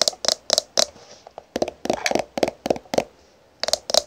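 Long painted nails and fingertips tap and scratch along a small black-and-gold "full cover" plastic squeeze tube held in the hand and apparently full. Quick, bright, clicky taps come in short bursts with brief pauses, each dying away almost instantly, with faint scratching between them.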